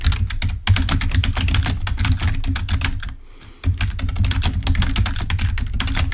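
Fingertips of both hands type on a full-size black plastic Microsoft keyboard resting on a table. A fast, steady stream of short key taps is heard, mostly dull low thumps with bright clicky edges. The typing stops briefly just after the three-second mark, then resumes at the same pace.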